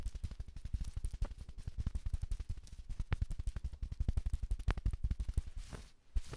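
AA batteries worn like long nails scratch and tap across a navy sherpa fleece jacket with a felt letter patch, worn by the wearer. A rapid, steady stream of soft, dull thumps and rustling scrapes sits almost entirely in the low range, each tap dying away instantly. It briefly quiets just before the end, then resumes.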